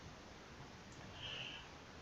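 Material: Nothing is struck.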